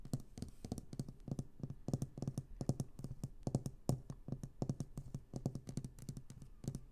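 Long green nails tap and scratch a small, solid, round glass paperweight with a swirled orange and purple inside, resting on sequin fabric. A quick run of soft, dull taps with a low body and brief bright clicks on top dies away almost at once, with faint scratching between them.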